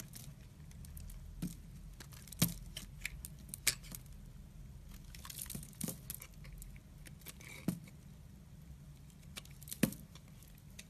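A utility knife blade slices and scrapes thin curls off a solid pale-yellow rectangular bar of soap held in hand. Quiet, dry scraping and soft crinkling run over a low steady hum, broken by sharp, bright clicks as the blade catches and cuts through.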